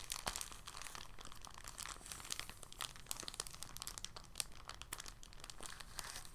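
An empty, thin, clear polyethylene bag is held in both hands and crinkled and squeezed with fingertips and short nails. It makes a steady, soft, dense crinkling full of bright, sharp crackles and ticks that stop instantly, over a faint low rumble.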